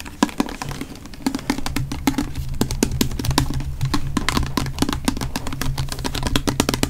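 A small, full pink body mist bottle with a silver cap, looking plastic, is held in both hands and tapped and scratched with fingertips and nails close to the mic. Quick, dry clicks and taps come in rapid, uneven bursts, each dying away almost instantly, over soft scratching and a steady low hum.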